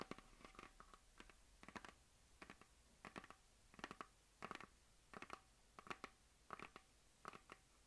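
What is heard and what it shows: Fingernails and fingertips scratch and rub across a hollow plastic map globe on a stand, making short, dry, scratchy bursts that come in quick clusters. The strokes sound crisp and papery with a mid-range body and bright upper edges, over a quiet, faint background.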